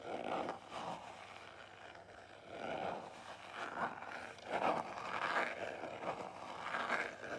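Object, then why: Small cardboard jewelry box. A small black square Marlù cardboard jewelry box is held, tapped and scratched with long nails. Soft, irregular scratching swells and light taps repeat across the clip, mostly in the mid frequencies, with little low rumble.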